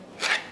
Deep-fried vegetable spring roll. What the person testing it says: इसकी आवाज बोल रही है की बहुत ही क्रिस्पी बने हैं